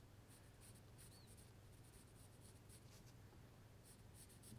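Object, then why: Pencil on a small light-wood carving blank. A gloved hand holds a small, solid block of light wood, partly carved into a trout, while a pencil draws lines across its surface. Quiet, bright, scratchy rubbing strokes come and go over a steady low hum. A brief, faint high chirp is heard near the start.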